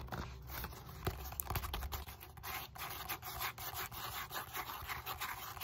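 A large black-grey textured foam roller of molded polyethylene foam, a solid foam cylinder held upright, is scratched and rubbed with long nails and fingertips on its bumpy side and end face. Quick, dry scratching and rubbing strokes sound throughout, with a bright, airy hiss over a soft low rumble.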